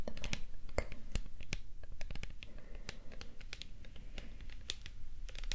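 A hollow, dark purple plastic setting-spray bottle with a spray nozzle is held in the hands and tapped and scratched with long nails. Quick, irregular, light clicking taps mix with soft scratching over a low, steady rumble, each tap dry and dying away at once.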